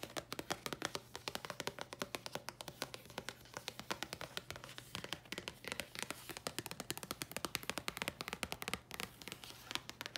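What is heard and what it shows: Long nails tap and scratch rapidly on a flat red printed cardboard card from Thayers packaging, making a dense run of dry, bright clicks that stop instantly. Soft scraping fills the gaps, and a faint steady low hum sits underneath throughout.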